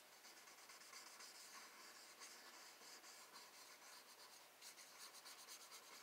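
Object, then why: Paper sketchbook page rubbed with a paper blending stump. A paper blending stump held in the fingers rubs and scratches in small circular motions over a pencil-drawn rose on a flat sheet of spiral-bound sketch paper resting on a wooden desk, while the other hand steadies the page. The result is a quiet, steady, bright hissing scrape with almost no low end, rising and falling in soft swells as the stump circles.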